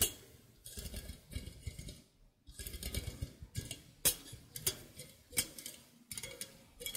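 A fingernail plucks and ticks the thin curved steel wires of a steel egg slicer held upright close to the microphone. Quick, bright metallic ticks and short twangy plinks come in clusters. Each one dies away almost at once over a soft, low body resonance.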